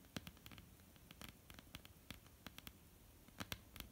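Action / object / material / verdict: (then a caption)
tap / wooden tabletop / wood / none. Long, almond-shaped painted nails of both hands tap a flat, solid wooden tabletop in a quick, irregular patter. Each tap is a short, dry click with a bright edge over a soft low knock, dying away almost instantly over faint background hiss.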